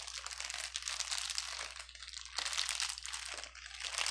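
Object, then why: Plastic bubble wrap. One hand squeezes, crumples and rubs a bundle of clear plastic air-bubble wrap, with empty, hollow air cells, using fingertips and palm as it lies on a grey table. The result is a dense, continuous, bright crinkling and crackling that briefly softens twice before picking back up. A faint steady low hum runs underneath throughout.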